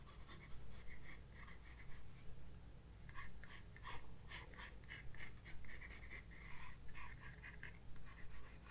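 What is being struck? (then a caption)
Graphite pencil on drawing paper in a spiral sketchbook. A graphite pencil held in the right hand sketches a moth on white drawing paper in a large spiral-bound sketchbook lying flat on a wooden desk. Continuous, bright scratchy strokes come in quick uneven bursts, with a brief quieter pause near the start, over a steady low hum.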